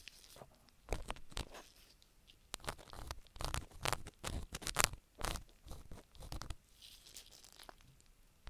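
A gloved hand scrapes and rubs a thin wooden stick inside the canal and folds of a black, solid soft silicone rubber ear mounted on a round binaural microphone. Close, crunchy scratching bursts come in an irregular rhythm, with a deep rumbling thump and bright hiss in each stroke and quiet gaps between.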